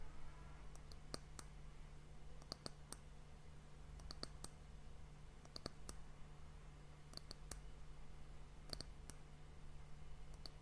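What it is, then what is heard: Wooden hourglass end cap. Long nails tap the top of the round, solid, glossy brown wooden end cap on a glass hourglass. Short, dry, bright clicks come in small irregular clusters and die away almost instantly. A steady low hum sits underneath throughout.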